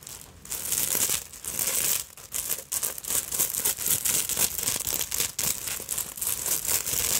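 Long nails scratch rapidly across the front of a black beaded fabric purse with sequins and pointed bead fringe. The result is a steady run of bright, crinkly, rattling scratches with a brief dip near the two-second mark.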